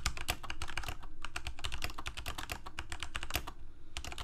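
Fingertips of both hands type on a Corsair K68 full-size mechanical keyboard, with plastic keycaps, Cherry MX Red switches and a backlight, resting on a desk. A steady, fast run of short clacking keystrokes gives dull, low thuds under bright, crisp key taps. Each stroke dies away almost instantly.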